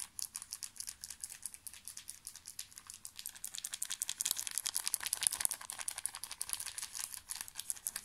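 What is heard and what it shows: A small, full pocket tissue pack in thin plastic film is crinkled with the fingertips close to the microphone. The result is a quiet, steady stream of sharp, irregular crackles, almost entirely bright and high with next to no low end. The crinkling grows a little denser and louder after about four seconds.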